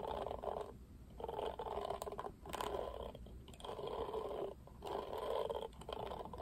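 Fingertips stroke and scratch through the plastic bristles of a plastic paddle hairbrush, making dense, raspy scratching in repeated sweeps separated by short pauses. The sound is a steady mid-range rustle, quiet and close, with a faint low hum underneath.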